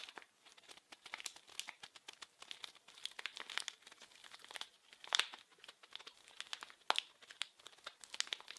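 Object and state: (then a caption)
Plastic film wrapper. A small, blue, printed plastic-film wrapped package is held in both hands and crinkled and scratched with fingertips and nails. The result is a dense run of crisp crinkles and sharp snapping crackles, all bright and high with no low end and a hiss-like band near 3.6 kHz. A few louder snaps stand out around the middle and near the end.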